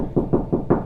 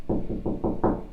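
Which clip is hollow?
The first.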